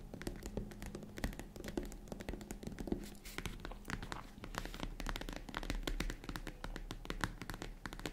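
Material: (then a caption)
Faux leather. Long red-painted nails tap and scratch rapidly on the top of a hollow, box-shaped tan faux leather zippered vanity/jewelry case. The result is a steady run of short, dull, low thuds with soft scratching between them, each tap dying away almost at once.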